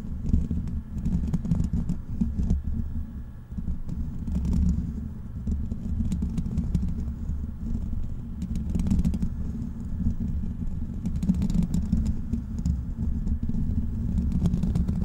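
Fingertips rapidly scratch the black metal mesh grille of a large, hollow desktop microphone. The result is a steady, dense scratching rumble concentrated in the low end, with occasional brighter crackles flickering over it throughout.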